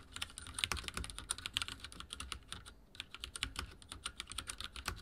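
Fingertips type on a backlit mechanical keyboard with dark plastic keycaps. A rapid, steady stream of short, bright clacks with a light low thump fills the clip, easing briefly near the three-second mark before resuming. Each keystroke dies away almost instantly.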